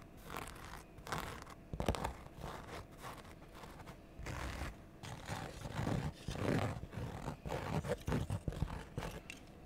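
A single empty, cream-white Converse-style high-top sneaker with a canvas upper and rubber sole is held and turned in the hands while long painted nails scratch and rub its canvas and rubber. Dry, scratchy, tearing-like rasps come in short uneven bursts, with a soft low rumble under the quiet stretches and a few sharper crunchy peaks.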